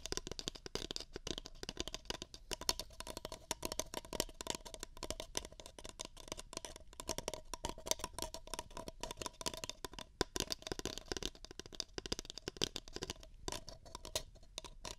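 Fingers tap and scratch the walls and rims of two empty, hollow paper cups held beside a pair of microphone ears. The result is a dense, continuous stream of quick, dry papery taps and scratchy rustles, bright and crisp in the highs, with a faint steady tone near 1 kHz underneath.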